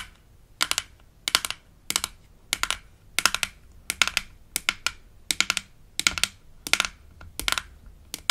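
Long acrylic nails tap and scratch a hollow light-blue plastic toy denture case lid with an embossed smiley, held in the hand, from a Melissa and Doug Super Smile Dentist Kit. About a dozen short bursts of quick, bright clicking taps come at a steady pace, each dying instantly with no ring. Quiet pauses fall between the bursts.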